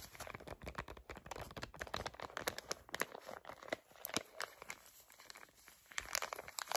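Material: Foil.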